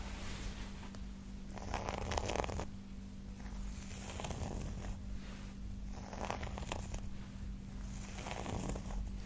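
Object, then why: Round flat cork board. A larger round, flat, solid cork pad is held upright in one hand and tapped and scratched with the long pointed nails of the other hand. Soft, papery scratching comes in repeated bursts with light taps, over a steady low hum. The sound stays quiet and dry, with no ring after each stroke.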